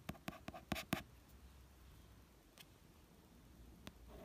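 A fingertip traces the artwork and text on the glossy card cover of a red paperback novel, the cover resting over a solid paper block. Five quick, bright taps come in the first second, followed by a soft, steady rub of skin on the card and two more isolated taps later. Each tap dies away almost at once.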